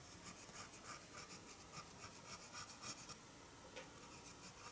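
A white eraser block is rubbed with the fingers across pencil lines on white drawing paper lying flat on a wooden table. Quiet, bright, scratchy rubbing strokes repeat at an uneven, fairly quick pace, with a soft hiss between them.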